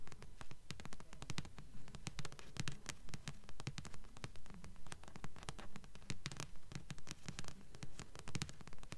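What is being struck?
Paperback book with card cover.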